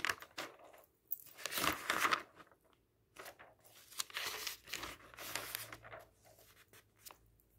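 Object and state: Magazine pages being turned.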